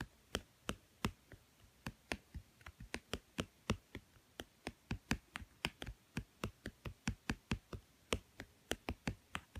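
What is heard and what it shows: Fingertips and nails tap the blue glossy cover of a small, thick, solid children's cardboard board book with many stacked pages, lying on a woven mat. About 33 quick, dry taps land at an uneven pace, each a short click with a soft low thump and a bright edge that dies away almost instantly.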